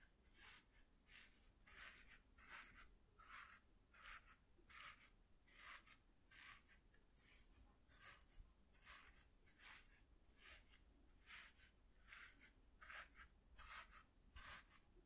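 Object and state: Corrugated cardboard sheet brushed.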